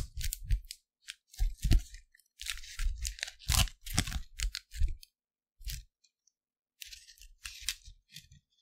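An empty, thin, printed clear plastic Lindor candy wrapper is first stretched between both hands, then held by the fingertips in one hand and crinkled close to the microphone. The result is irregular bursts of crisp, bright crackling over low, soft thumps, separated by short silent pauses.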